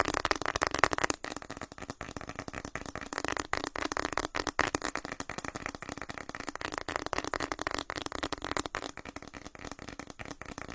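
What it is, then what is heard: Plastic snack wrapper being crinkled. A small, light white and orange flower-print plastic or foil snack packet, likely empty or nearly empty, is held in both hands and squeezed, rubbed and scratched with the fingertips close to the microphone. It gives a continuous dense crinkle of rapid, sharp crackles with a bright, papery tone and little low end.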